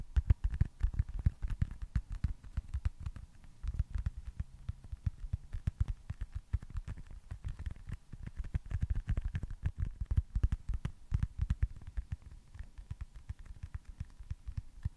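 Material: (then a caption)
Foam. A small, solid, smooth white foam stress ball with red baseball stitching is tapped and scratched with fingertips and nails. A rapid, uneven stream of soft, dull, low thuds comes through, each dying away almost instantly, over faint light scratching.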